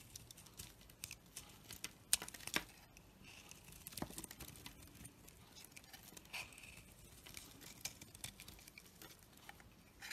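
A knife scrapes and shaves curls off a solid bar of soap, held in the hand, that has a black outer layer over a pale yellow core. Quiet, bright, crisp scratching and crinkly ticks come in an irregular patter, with a few sharper snaps near the two- and two-and-a-half-second marks.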